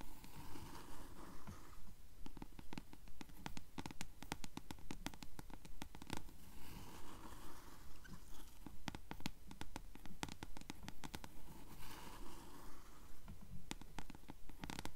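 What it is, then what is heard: Paperback book page edges (paper). Long nails scratch the yellowed page edges of a closed paperback book held upright, making quiet, dry rasping strokes in a steady rhythm of roughly one per second. Each pass leaves short, crisp papery ticks and brief bright bursts over a soft, low, muffled background.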